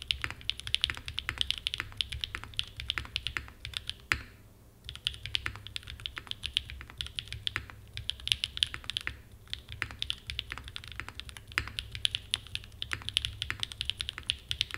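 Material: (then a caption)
Aluminum, plastic. Fingertips type continuously on a small 60% Frog mini mechanical keyboard with a red aluminum case and black plastic keycaps, resting on a desk mat. Rapid, bright, short clacks run throughout over a faint low hum, with brief pauses around 4.5 and 9.5 seconds.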